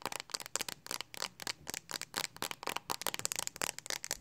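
Long acrylic nails rapidly tap and scratch the flat back of a handheld smartphone in a pink hard plastic Speck case, held close. The result is a quick, dense run of dry, bright clicks and scrapes with almost no low end and no ring after each hit.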